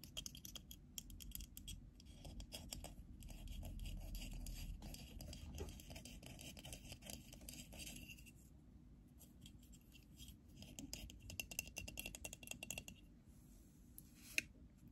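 Long pink nails scratch and tap a small, hollow, black half-round plastic USB hub or adapter with two USB ports, held in both hands. Quiet, bright scratching and quick clicking taps come in an irregular, dense stream over a low, steady rumble, with brief pauses and one sharper tap near the end.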